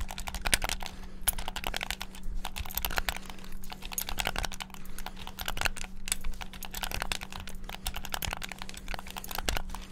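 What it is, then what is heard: Plastic game controller buttons. Fingertips rapidly tap the face buttons of a black, hollow plastic Xbox-style gamepad, making a dense, continuous stream of sharp, bright plastic clicks. The clicks are short and dry, with a steady low hum underneath throughout.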